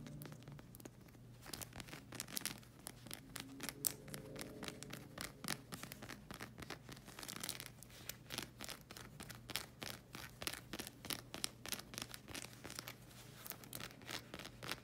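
Long acrylic nails rapidly scratch the hexagon tread of a solid black rubber slide sandal sole. The result is a dense run of quick, bright, crackly scratching strokes over a steady low hum, continuing without pause throughout.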